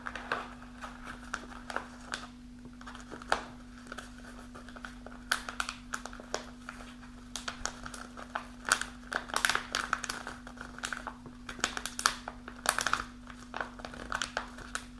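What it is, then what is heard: Kraft paper snack pouch. A kraft paper snack pouch, partly full of dried fruit, is held in both hands while long nails scratch and crinkle the bag. Dense, dry crinkling and scratching come in quick bursts with sharp bright crackles, over a steady low hum. Each crackle dies away almost instantly.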